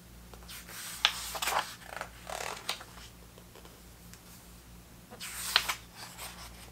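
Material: Paper.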